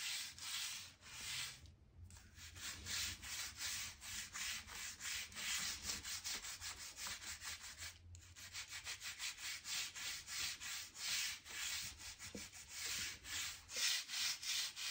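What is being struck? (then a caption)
Oak plank floor scraped with a stiff-bristle brush. A hand-held stiff-bristle brush scrapes dirt and dust along the gaps between the boards of a solid oak plank floor. Quick, bright, scratchy strokes repeat at an uneven pace, with brief pauses near the 2- and 8-second marks. The sound carries almost no low end.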